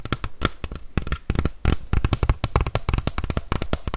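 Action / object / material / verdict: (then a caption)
tap / plastic bike helmet shell / plastic / none. A hollow green hard-shell plastic bike helmet is tapped and scratched with fingertips and nails. Rapid, irregular taps make dull, low thuds with short bright clicky edges that die away almost at once, mixed with faint scratching between them.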